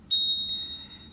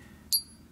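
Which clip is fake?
The second.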